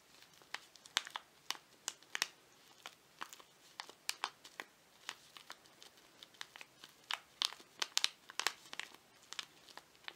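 A small, flat, printed paper tea bag envelope is held in both hands while fingers crinkle it and scratch it with their nails. The result is a quiet, rapid string of sharp, dry, high-pitched crackles and clicks, each ending almost instantly, with no low-end body.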